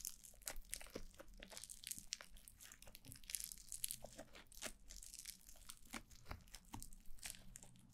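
White foam-bead slime (floam) is squeezed and rubbed by two hands with long blue nails against the sides of a black mannequin-head microphone. The result is a dense stream of crunchy, squishing crackles with bright crinkly pops over a low rumbling bed.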